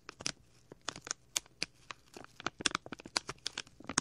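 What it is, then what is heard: Plastic bag. A small, clear plastic packet with a label is rubbed and crinkled with fingers and a thumbnail right next to the left ear of a microphone. About nineteen short, crisp crackles and snaps sound in a quick, irregular series, bright and papery with almost no low end. The pops die away instantly, separated by near silence.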